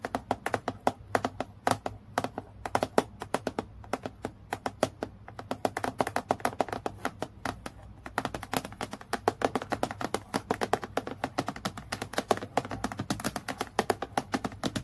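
Long natural nails tap quickly on the flat sheet of a transparent acrylic plastic clipboard lying flat. The result is a dense, continuous run of short, sharp plastic clicks with almost no ring, centered in the mid range over a faint steady low hum.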